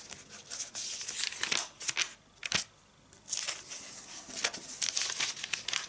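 Fingertips with long red nails rub, smooth and flip the glossy pages of a thin AVON paper catalog lying open on a striped tablecloth, with a large ring worn on the hand. Bright, crisp rustling and crinkling sweeps come in bursts with a near-silent pause around the middle, almost nothing in the low end.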